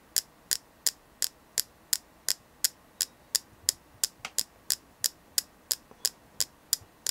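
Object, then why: Selenite crystal. A selenite crystal is tapped in a steady rhythm, giving 22 crisp, bright, dry clicks with almost no ring and no low end, a few of them softer than the rest. The taps come about three to a second over a faint, quiet background.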